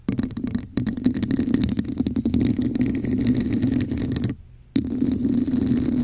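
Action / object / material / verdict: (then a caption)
scrape / textured plastic cup / plastic / none. Long acrylic nails rapidly tap and scratch the sides of a hollow red plastic cup with a textured, scale-like pattern, held over a microphone. Dense clicky taps and rasping scrapes ride on a steady, hollow low resonance. The sound drops away briefly near the end, then resumes just as busy.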